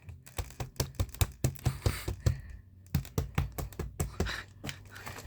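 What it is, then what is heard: Vacuum-compressed storage bag sounding hollow. A vacuum-compressed plastic space saver storage bag holding three blankets and a comforter, with the air pulled out, is knocked on repeatedly in about two dozen quick, uneven raps. Each knock is a short, dry, low thud with almost no ring. Though the packed bag is dense and heavy, it sounds like hollow plastic.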